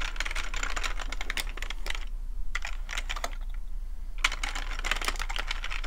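Fingertips of both hands type and tap on a full-size black plastic computer keyboard with a hollow plastic body, resting on a fuzzy rug. A rapid stream of short, bright plastic clicks and clatters comes in quick bursts, with brief lulls in the middle, over a steady low hum.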